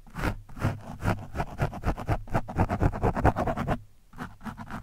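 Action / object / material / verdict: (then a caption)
scrape / foam microphone windscreen / foam / none. A screwdriver tip scratches across an orange foam windscreen on a microphone, producing a quick, uneven run of dry, rasping strokes with a deep, muffled low end. The strokes briefly pause near the end before a few softer scrapes resume.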